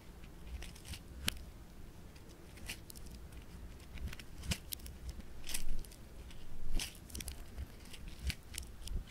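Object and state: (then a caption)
Foam bead clay (floam). Fingertips pinch, fold and stretch a small, palm-sized piece of bright green polystyrene-bead floam. Irregular crisp crackles and sharp bright pops sound over a low, soft rumble, with the crackling swelling louder in bursts as the foam beads are squeezed and pulled.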